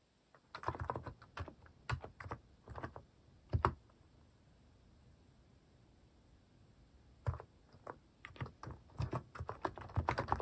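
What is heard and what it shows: Fingertips type slowly on a cream plastic mechanical keyboard fitted with plastic cat and paw keycaps. The result is short, dull keystroke clicks with a solid low body, played in irregular bursts with a quiet pause of about three seconds in the middle.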